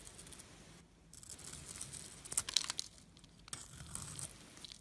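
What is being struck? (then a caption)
Glitter soap bar. A metal blade shaves white flakes from a solid silver glitter bar soap with an exposed white interior, held in the fingers. Quiet, dry, crinkly scraping comes in short bursts and is mostly high and bright, with a few sharper crisp peaks near the middle. Brief pauses fall between strokes.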